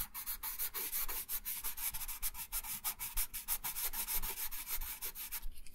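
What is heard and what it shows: A wooden colored pencil held in the right hand rubs and scratches colour onto a thin printed paper coloring sheet lying flat on a wooden table. Rapid back-and-forth strokes make a bright, scratchy, hissing rasp that pulses with each stroke.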